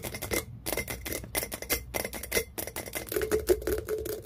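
Long fingernails and fingertips tap rapidly on the glass lid and rim of a small, empty, clear glass clip-top jar with a metal wire clasp. The result is a dense run of quick, bright, hollow clicks that die away almost instantly. A faint glassy ring sits near 390 Hz, most audible toward the end.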